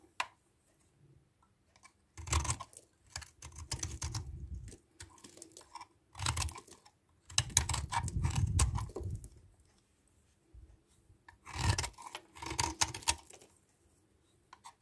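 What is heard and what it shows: A solid white bar of soap from a tiny DURU set is held in the hand while its edge is scraped with a metal knife blade, and the bar is then held and turned. Short bursts of dry, crisp scraping and crackling come in uneven clusters, with a soft low rumble under them and quiet pauses between.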